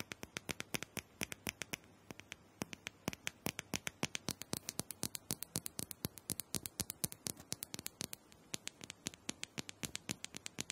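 Long nails tap and scratch a small, round purple plastic dome massager, likely hollow, held in one hand. About 78 quick, irregular taps come at roughly four per second, each a sharp, bright, dry click with almost no ring. A soft, light scratching hiss fills the gaps between them.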